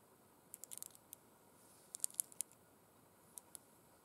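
Long red acrylic nails scratch and tap over a pair of burgundy faux suede gloves with sequin stripes, lying flat and empty on a glitter cloth. Quiet, bright, dry clicks and scratches come in three loose clusters with almost no low end and no ring, over a faint steady hiss.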